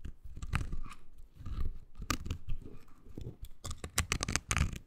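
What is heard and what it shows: Long green nails scratch a small, oval, pink silicone body scrubber pad with nubs, solid yet flexible. The result is a dull, low, rubbery rustling broken by a series of sharp, bright scratchy bursts that stop dead with no ring.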